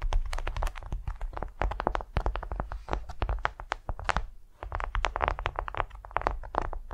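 A large, flat, patterned beeswax-coated cotton wrap laid on a furry mat is tapped and scratched with long nails while fingertips drum across its surface. The result is a steady stream of quick, dry, crinkly taps and scratches with bright, papery edges and a soft low thump underneath, with almost no ring after each hit.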